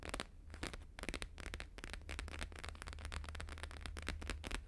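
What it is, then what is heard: Laminated holographic paper sheet. A flat square sheet of thin, flexible plastic-laminated holographic paper lying on a fur rug is tapped rapidly with fingertips and nails of both hands. The result is a dense run of sharp, crackly clicks with bright edges over a steady low hum, with brief pauses between bursts.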